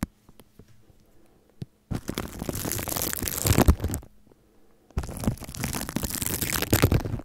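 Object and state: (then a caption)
Cling film over a microphone, scratched. The bristles of a red and white plastic toothbrush are brushed and scratched across clear plastic cling film wrapped loosely and crinkly over a hollow microphone body. A few faint taps are followed by two long bursts of dense, scratchy crinkling with a heavy low-end rumble, separated by a short quiet gap.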